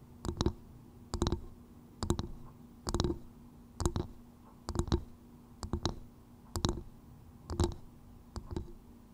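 Long nude-painted nails tap and click rapidly on the hard, fibrous outer shell of a small, hollow, empty, polished coconut shell bowl turned upside down over a microphone's fluffy windscreen. About ten short bursts of dry, bright clicks with a low hollow knock arrive at a loose, uneven pace, each dying away almost instantly over a faint steady hum.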